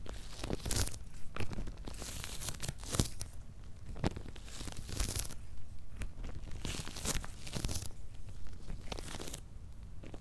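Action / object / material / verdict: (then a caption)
scrape / corrugated cardboard box with paper label / cardboard / none. Fingernails scratch and fingertips tap on the paper labels and cardboard top of a medium, closed, hollow corrugated cardboard shipping box. The result is a steady run of dry, papery scratching and rustling with bright bursts, broken by sharp, quickly fading taps that carry a low, hollow thump.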